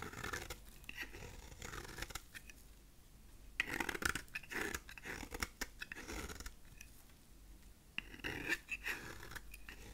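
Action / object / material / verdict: scrape / bar of dry soap / soap / none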